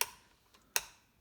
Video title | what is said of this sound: Wiring 2 Volume, 2 Tone, 3-Way Selector AC Guitar Kit | you can actually just tap on those individual pole pieces and we can hear that's working